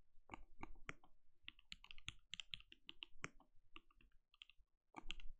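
A compact RGB-lit mechanical keyboard with a translucent plastic case and plastic keycaps, resting on a desk, is typed on steadily with the bare fingertips of both hands. The clip is a quiet stream of short, dry key clicks with a low thock and bright clatter on top, and each keystroke dies away almost instantly. There is a brief pause near the end before a final burst of keystrokes.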